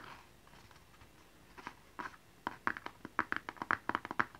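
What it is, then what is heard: Cardboard gift box, hollow. Fingernails tap and scratch a small, hollow blue cardboard gift box with a barcode label, held upright. Faint scratching opens the clip, then about fifteen crisp, hollow taps with a midrange click quicken toward the end. Each tap dies away almost instantly.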